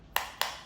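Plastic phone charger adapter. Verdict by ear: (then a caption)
Hollow. A fake plastic phone charger adapter is knocked twice, giving two sharp, bright clicks with a hollow ring around 1 kHz. The hollow sound marks it as a counterfeit.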